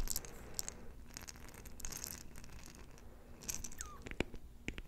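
Long nails scratch and tap a small, round, clear glass jar filled with colorful plastic beads and closed with a metal lid, and the beads may shift inside. Soft, crisp scratching comes in bright bursts over a low, steady rumble. Near the end, a few sharp, short taps click against the glass.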